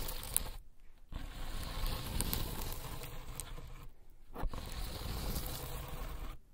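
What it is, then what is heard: Corrugated cardboard cat scratcher being scratched. Long acrylic nails on one hand scratch and tap across a flat, solid pad of stacked corrugated cardboard used as a cat scratching board. The result is a dense, rough, rustling scrape with soft taps mixed in. It pauses twice, briefly, before dying away at the end.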